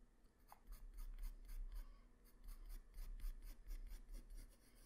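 A graphite pencil tip draws strokes across a flat white paper sheet. Quiet, irregular bright scratching and rubbing strokes repeat about four times per second, each dying away almost instantly, over a faint low rumble.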